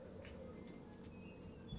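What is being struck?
Nothing is struck.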